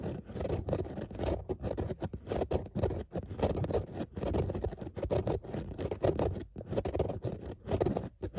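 Long nails scratch back and forth across grey textile car seat upholstery with a raised dotted pattern. The result is a continuous, dense rasping scratch with a low-mid body, rising and falling in short strokes with brief gaps between them.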